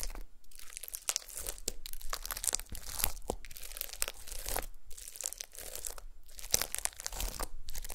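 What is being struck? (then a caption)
Glitter slime with star confetti. Long pastel nails press and poke into a flat, solid disc of gold glitter slime sprinkled with small star confetti. Repeated quiet bursts of crackly, crinkling squelches and bright sticky pops follow one another, with short quiet gaps between presses.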